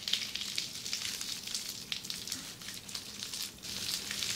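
Long red-painted nails on both hands scratch across a flat sheet of red plastic bubble wrap lying on a table. The result is a steady, bright, sizzling crackle with sharp ticks scattered throughout, concentrated almost entirely in the high range with very little low end. It briefly quiets around the middle and again just before the last second.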